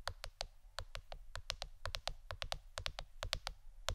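A plastic board shaped like a shirt is tapped with the fingernails for ASMR. It gives a rapid, uneven series of short, dry clicks with bright tops and almost no ring, over a faint steady low hum.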